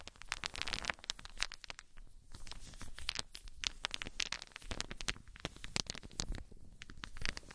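A pile of small, solid, unfinished wooden balls held in cupped hands is shaken and rubbed so they clack together. Dense bursts of sharp, bright, dry clicks and clacks come over a low rustling rub, rising and falling in uneven clusters. The clacks stop dead with no ring.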